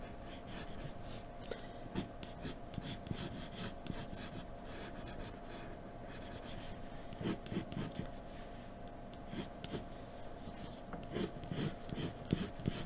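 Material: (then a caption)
Paper. A hand draws hair strokes on white drawing paper with a graphite pencil held in a blue extender. Quick, irregular scratching and rubbing strokes come in soft bursts of bright, dry rasping over a faint steady hum.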